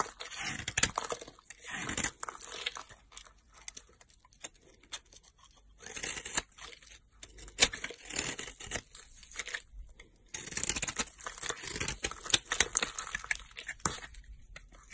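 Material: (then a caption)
Soap. A metal utility blade scrapes and shaves a solid pink dried soap cube held in the hand, its dry, crumbly surface breaking off into flakes. Bright, dry crunching and tearing scrapes come in bursts with short pauses between them, with almost no low end and no ring after each stroke.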